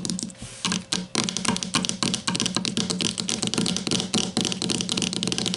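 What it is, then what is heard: Plastic deodorant stick. Long nails on both hands tap rapidly on the plastic cap of a grey plastic deodorant stick lying with its cap end forward. The result is a dense, continuous stream of crisp, bright clicks with short decays and only brief pauses between bursts.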